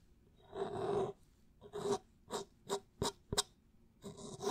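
Fingertips and nails scratch and rub along a clear plastic drink bottle near its orange cap; the bottle has a label and is held sideways in front of the microphone. A longer raspy rub is followed by a run of short, separate scratching strokes with a bright, hissy edge. The clip ends on another sustained rub.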